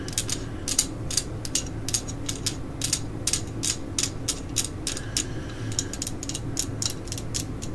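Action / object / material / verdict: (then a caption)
tap / plastic screwdriver handle / hard plastic / none. A solid black plastic screwdriver handle with a red cap, held upright, is tapped and scratched along its length with long acrylic nails. The result is a rapid, uneven series of short, bright clicks with quick decay, over a steady low hum.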